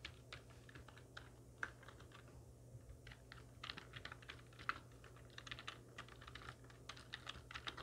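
Long natural nails and the fingertips of both hands type rapidly on a full-size black plastic computer keyboard with hollow keys, resting on a wooden desk. A quick, uneven stream of short, bright plastic clicks and clacks, with a few louder taps, sounds over a faint low steady hum.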